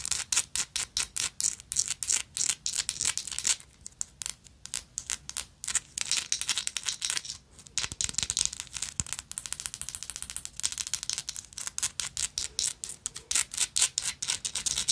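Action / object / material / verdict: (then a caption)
scrape / textured metal lighter / metal / none. A gold metal lighter with a woven texture is scratched and tapped with long nails. The result is a dense, rapid run of crisp, bright clicks and scratchy rasps with almost no low end. Each hit dies away almost instantly.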